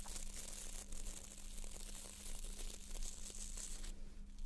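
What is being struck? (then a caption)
Plastic nail brush with stiff bristles. Long nails scratch and flick the stiff plastic bristles of a small white plastic nail brush held in both hands, sometimes moving fast. The result is a continuous dry, crinkly scratching with bright rasping texture over a steady low hum.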